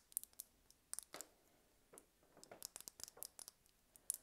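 A small, slim red plastic lip gloss tube with a gold cap, hollow with liquid inside, is held in the hands and tapped and scratched with long red-painted nails. The result is quiet, bright, sharp clicks and brief scratchy rasps in uneven bursts, with almost no low end and no ring.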